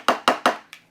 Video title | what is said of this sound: Inktoberfest 2018: Day 7 - Alcohol Inks 101 | I tend to give it a tap until I can hear that ball moving